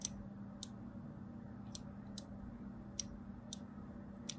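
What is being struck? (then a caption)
Bar of soap scored with a thin blade. A thin blade scores lines into a solid striped soap bar, making seven short, bright, crisp clicks spaced unevenly across the clip. Each scratch dies away almost instantly over a steady low hum in the background.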